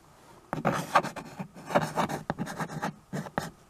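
A white chalk stick held in one hand writes and scratches across the black surface of a small handheld chalkboard with a rustic wooden frame, a flat solid board held in the other hand. After a brief quiet start, irregular bursts of dry, gritty scraping strokes follow, with short pauses between them and a bright, rasping texture.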